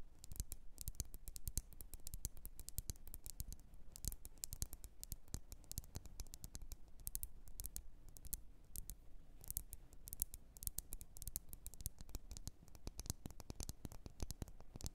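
Long nails tap rapidly and continuously on the glass sides of a lit red glass candle jar filled with wax. The quiet, dense stream of short, dry clicks stops almost instantly after each touch, with no ringing.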